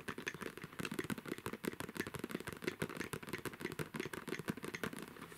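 Fingertips and nails scratch and pat the side of a medium, soft cosmetic bag made of black-and-white striped coated fabric or faux leather with a pink band, filled with makeup. The result is a rapid, uneven stream of short, dry taps and scratchy rustles, each dying away almost instantly, with a soft muffled thud beneath brighter crackly edges.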